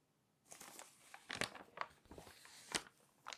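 Thin glossy magazine pages are gripped by the edge with long nails, flipped over, and then pressed down. This produces bright, crisp crinkling and papery rustles, with several sharp crackles rising out of the quieter handling noise. The sound is dry and close, with almost no low end and very little ring after each crackle.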